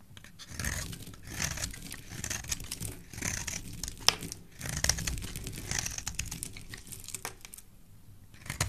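A solid cream-colored soap bar with an embossed logo, held in the hand, is scraped and cut with a black utility knife blade. Irregular bursts of dry, crisp scraping and crunchy shaving sounds come and go, bright and hissy on top with a soft low rumble underneath. Each cut ends abruptly with no ring.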